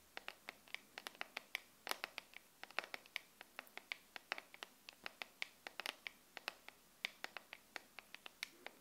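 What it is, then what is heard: Plastic phone case tapped with nails. Long nails tap and scratch on the back of a smartphone's clear plastic case filled with liquid glitter, the phone held in both hands. About 47 sharp, bright, very short clicks sound at an irregular quick pace, with faint scratchy texture between them. The overall level is quiet.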